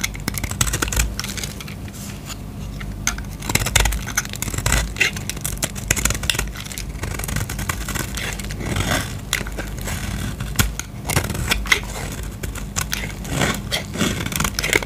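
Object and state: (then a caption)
Soap bar shaved with a blade. A utility knife blade shaves a solid blue bar of soap held in the hand into curls, making a steady run of dry, crackly scraping strokes with bright, crisp edges. A low hum sits underneath throughout.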